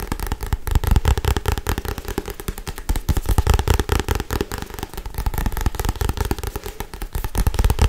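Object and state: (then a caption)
Paperback book. A solid Harry Potter paperback book with a paper cover, held in one hand, is tapped and scratched fast with long white acrylic nails. The result is a dense, continuous stream of quick, dry taps and scratchy crackles, with a heavy low thump around 59 Hz under each tap and very short ring.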